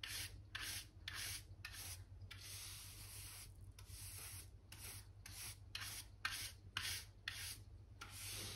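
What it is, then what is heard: Brushed wooden floorboards. A black-backed hand brush with pale bristles is swept back and forth over a solid wooden plank floor along a skirting board. The rhythmic, bright, scratchy brushing strokes come in quick bursts, with one longer sweep, over a steady low hum.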